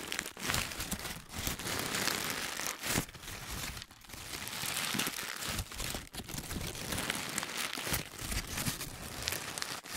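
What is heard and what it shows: A hand-sized, loosely packed ball of crumpled paper is squeezed and rubbed with the fingertips. The result is dense, bright crinkling and crackling that runs almost continuously for about ten seconds, with brief quieter dips between squeezes.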